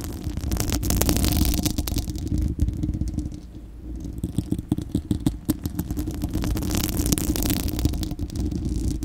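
Long acrylic nails of both hands scratch a bare, hollow, fist-sized spherical steel wire-mesh microphone grille, producing a dense, boomy rumble with rapid crackling ticks layered on top. The scratching eases briefly in the middle, then returns as a run of sharper, rhythmic scrapes with bright, hissy edges.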